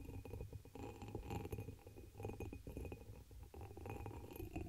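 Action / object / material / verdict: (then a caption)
tap / embossed glass chalice / glass / none. Long pink acrylic nails tap and scratch the patterned surface of a dark amber embossed glass chalice, hollow and empty and turned upside down over the microphone. The result is a steady run of soft clicks and scrapes over a muffled, boomy low resonance, with faint bright glassy glints.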